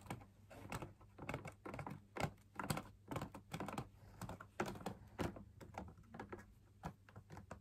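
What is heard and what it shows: Fingers tap the outer wall of a hollow, perforated, fabric-laminated drum lamp shade, heard from inside the shade. The taps are soft, dull and dry, coming in an uneven, quick patter with no ringing. A faint low hum runs steadily underneath.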